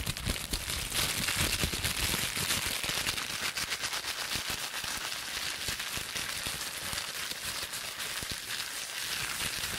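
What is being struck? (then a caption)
Plastic bubble wrap sheet. Air-filled bubbles on a clear plastic bubble wrap sheet are pinched and popped between fingertips and long nails. Sharp, rapid pops run together into a dense, bright crackle over a steady rustle of plastic, with occasional sharper snaps standing out.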